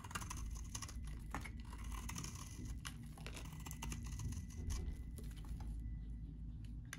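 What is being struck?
Bar of soap cut with a metal blade.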